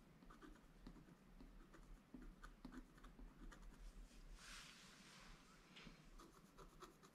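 A wooden stylus scratches small details into a flat, black-coated scratch art paper board. Quiet, short, dry scrapes and ticks repeat unevenly over a faint low rumble, with a longer, brighter hissing stroke in the middle.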